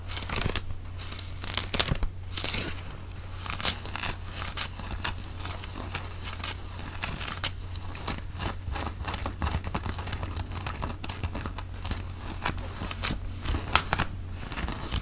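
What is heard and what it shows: Fingertips scratch the sleeve and front of a white cotton t-shirt being worn, making a dense, bright, papery rustle of quick strokes and crinkles that rises and falls in short bursts. A steady low hum runs underneath almost the whole time, dropping out just before the end.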